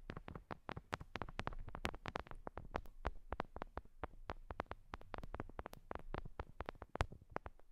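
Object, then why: Binaural microphone with silicone ear hooks. Long nails and fingertips tap and touch a binaural microphone directly: two small ear-shaped mics with clear silicone ear hooks. The result is a rapid, irregular stream of short, dry, close-up taps and scratchy clicks over about eight seconds. Each tap has a muffled low thump and dies away almost instantly.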